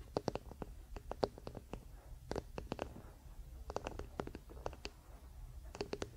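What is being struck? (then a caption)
Wooden paddle hairbrush. Fingertips and nails of both hands scratch and tap the solid wooden back, near the handle, of a wooden paddle hairbrush with pin bristles lying on a blanket. Quiet, dry, sharp taps come in quick clusters with no ring, over a soft scratchy rustle and a faint low rumble.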